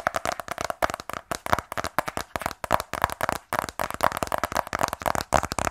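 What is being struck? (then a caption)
Rigid cardboard box. A small, closed black rigid cardboard iPhone 12 Pro box, held in both hands, is tapped rapidly with fingernails. About 27 dry, clicky taps with a hollow, mid-pitched tone come in quick, uneven bursts, each dying away almost at once.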